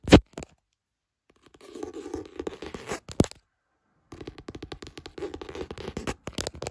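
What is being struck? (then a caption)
Hardcover spiral notebook with textured cover. Fingertips tap and scratch across the textured hard cover of a light blue "Happy Thoughts" hardcover spiral notebook with gold spiral binding, lying on a bed. A sharp tap opens the clip, followed by a run of soft, quick taps and scratchy rubbing with a warm mid-range tone. After a brief silence, denser rapid tapping and scratching continue to the end.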